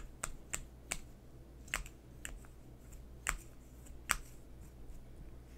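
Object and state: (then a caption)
Plastic lip gloss tube. Fingernails tap and scratch along a long, slim coral plastic lip gloss tube with a silver cap band, held horizontally in both hands, closed and filled with product. Eight sharp, dry clicks land at an uneven pace. Each has a bright, high tick and dies away almost instantly over a steady low hum.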